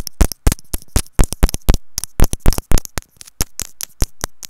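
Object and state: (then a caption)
Earphone inline microphone tapped. A small, hollow white plastic inline remote microphone on a wired earphone cable, which is itself the recording microphone, is held in a loop and tapped with long nails and fingertips. About two dozen quick, uneven taps land as deep, boomy thumps, each topped with a sharp, bright click. Each tap dies away almost instantly into near silence.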